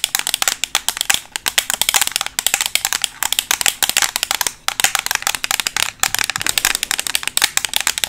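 A closed, black, flat and thin rectangular Makeup Revolution plastic eyeshadow palette, held in both hands, is tapped rapidly with metal paperclips fixed over long acrylic nails. The result is a dense run of sharp, bright clicks with almost no low end, each dying away almost instantly, with a few brief gaps between bursts.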